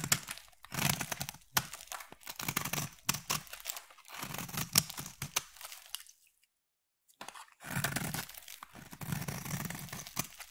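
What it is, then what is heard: Bar of soap being carved. A utility knife blade slices and scrapes a solid, hand-sized black soap bar, shaving off crunchy flakes. Bursts of bright, crisp crunching and scraping come with a soft low body, and a brief silence falls midway before the cutting resumes.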